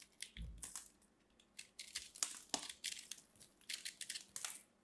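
A small blade scrapes and carves a palm-sized, solid lump of crumbly purple dried soap held in one hand, shaving crumbly flakes onto a pile of crumbs below. The sound is a quick, irregular run of bright, dry crunching scrapes with many short bursts. One deeper thud comes near the start.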